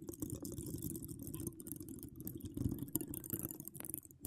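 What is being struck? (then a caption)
Woven metal mesh microphone grille. Long acrylic nails with donut charms scratch over a bare, hollow woven metal mesh microphone grille with both hands. The result is a steady, dense scratching and rustling, heavy in the low end, with faint bright crackles on top.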